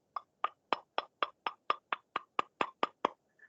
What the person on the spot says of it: si estuvieran percutiendo una moneda con otra moneda similar